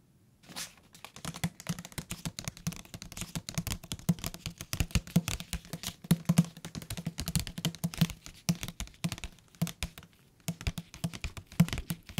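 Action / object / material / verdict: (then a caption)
tap / thick paper book / paper / none. Fingertips tap rapidly on the cover and along the edges of a thick paper book, making a dense stream of soft, dry, low thuds with almost no ring. The tapping runs nearly continuously with slight pauses, and the top and bottom edges sound different despite the same thickness and material.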